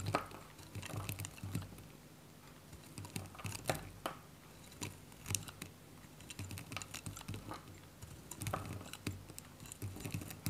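A metal utility knife shaves thin pieces off a small, hand-held block of varnished, dry white Godrej No.1 bar soap. The knife makes quiet, dry, crisp crunching and scraping cuts in quick irregular bursts, each with a soft low thud and a short bright crackle that stops almost at once.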